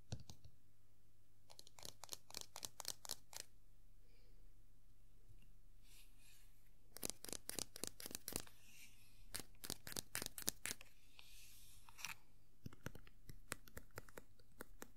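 Long nails and fingertips tap the top of the black top hat on a small hollow vinyl Tuxedo Mask Funko Pop figure standing on a clear plastic base. The result is quiet clusters of sharp, bright clicks that die away almost instantly, with brief scratchy hiss between bursts over a steady low hum.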